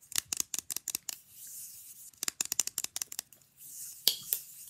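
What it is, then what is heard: Fridge magnet tapped and scratched with nails. A small, rigid, flat rectangular picture fridge magnet is held upright in one hand while long nails of the other hand rapidly tap and scratch its printed face. Two bursts of quick, sharp, bright clicks are separated by a soft, hissy scratching lull, and a final pair of crisp taps closes the clip.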